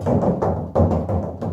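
Knuckles knock six times on the rear section of an uninsulated steel car hood panel, checked as a baseline before the under-hood insulator liner goes in. Each knock gives a hollow, tinny, drum-like thud centered low, around 94 Hz, with almost nothing bright on top. The thuds ring for about a quarter second and run into one another, a hollow sound the liner is expected to greatly improve.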